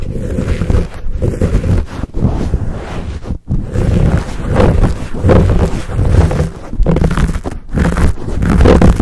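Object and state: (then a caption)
Foam microphone windscreen being squeezed and scratched. Hands squeeze, cup and scratch a fuzzy black foam windscreen on a Blue Yeti microphone. The result is a deep, muffled rumble of crackling and rubbing scrapes, heavy in the low end, with uneven swells and a few brief near-silent dips as the hands shift their grip.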